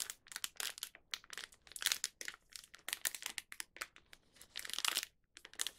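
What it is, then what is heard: Crinkling plastic snack wrapper. A small, thin plastic snack wrapper (Young Donut) holding a donut is held in both hands by the fingertips, turned over and squeezed so it crinkles. Quiet, bright crinkling comes in rapid irregular bursts with short gaps, sharp and crisp with almost no low end.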